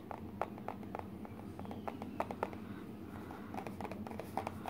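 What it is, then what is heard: Cardboard box. Fingertips and short nails tap the sides and partly opened lid flap of a small, hollow, empty printed cardboard Garmin box. About twenty light, dull taps come in quick irregular bursts, each dying away almost at once over a low, steady background hum.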